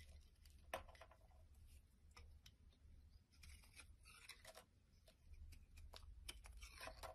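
A solid black soap bar held in the hand is cut and shaved into chunks with a utility knife blade. Soft, crisp scraping and slicing strokes come in quick bursts, a few bright and sharp, over a steady low background hum. The shaved chunks break away with short, dry crunches.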